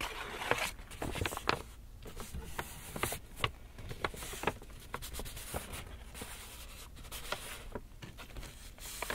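Fingertips scratch and rub the paper face of an empty, hollow black Lush paper shopping bag held upright. The result is a quiet, steady dry rustle broken by many short, sharp crackles and scrapes that stop almost instantly, with bright papery hiss on top and a faint low rumble underneath.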